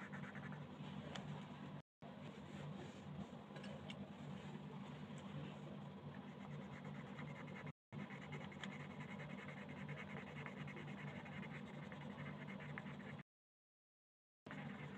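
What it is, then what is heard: Colored pencil on paper. Wooden colored pencils scratch steadily across a thin paper coloring page lying flat on a table, switching color partway through. The dense, continuous scratching runs in three stretches, broken by two brief silent gaps and a longer silent pause near the end.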